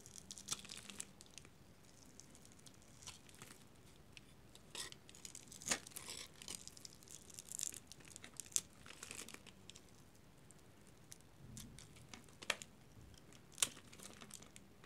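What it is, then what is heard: Dry soap bar, crunchy when cut. A metal utility knife blade scores and cuts a hand-sized, solid white dry soap bar held in the hand, flaking it off into small crunchy cubes. Quiet, dry, bright scraping and crinkling runs throughout, broken by sharp crackling snaps that stop almost instantly.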